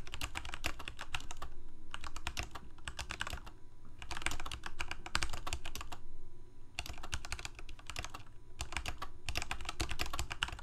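Fingertips of both hands type continuously on a full-size black plastic Corsair K68 gaming keyboard with backlit keycaps, Cherry MX Red switches and a hollow plastic case. Rapid, sharp, bright clacks come in quick bursts separated by short pauses, over a steady low rumble throughout.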